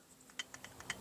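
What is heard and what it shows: A new electric inverter coolant pump for a CT200h is shaken by hand with its caps and bushings removed, making a quick series of light, high-pitched clicks and rattles. The rattle comes from inside the pump and is normal.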